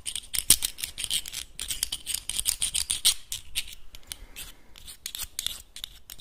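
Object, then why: Closed clam in its shell. Fingernails scratch and tap across the hard shell of a closed clam held in both hands, making a fast, uneven run of dry, bright clicks and rasping scrapes. The sound is mostly high and crisp, with a faint low thump under it, and each tick stops almost at once.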